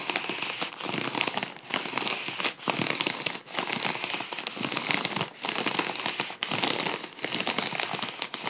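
Fingers pinch and scratch along a folded edge of a hollow gold mylar foil balloon, producing a dense, bright crackling and crinkling. The sound comes in steady bursts separated by brief pauses, with almost no low end.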